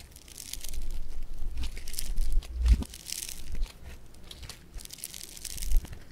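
Bare fingertips squeeze, pull and crunch a soft, handful-sized lump of blue floam, a solid, pliable foam bead clay made of tiny polystyrene beads in a binder, kneading it rather than tapping. The beads give off dense, bright crackling and crinkling in swelling bursts, over low, dull squishes from the pressed clay.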